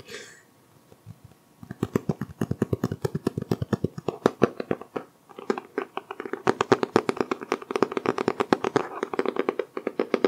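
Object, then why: Cloth-covered hardcover book. Fingertips of both hands tap rapidly on the green cloth-textured cover of a solid green hardcover book held close to the microphone. After a brief quiet start with a faint rustle, a steady stream of soft, dull, muffled taps with a mid-pitched hollow thump and almost no ring fills the rest of the clip, growing denser toward the end.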